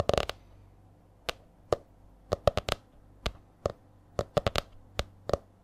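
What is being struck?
Laminated hardcover spiral notebook.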